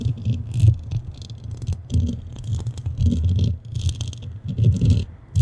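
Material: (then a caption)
Metal. The metal grille of a black studio microphone is scratched with the nails of both hands. It produces close, heavy low scraping and rumbling with a faint bright crackle on top, rising and falling in repeated surges.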